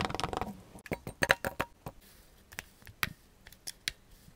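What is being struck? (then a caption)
Kinetic sand in a glass mug. Blue kinetic sand chunks in a clear glass mug are pressed and crushed with a black tamper tool while a gloved hand holds the glass. A dense burst of crackly crunching opens the clip, then about 11 separate sharp, dry crunches and clicks follow, each with bright edges and almost no ring.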